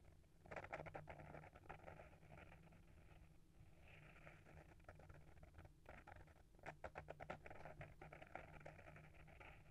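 Short fingernails rapidly scratch the front cover of a small, solid hardcover book with a paper-wrapped board cover, held in hand. Quick, dry scratching strokes come in dense rhythmic bursts near the start and again around the seven-second mark, with softer, steady scratching in between over a low, constant hum. The overall level stays quiet and close.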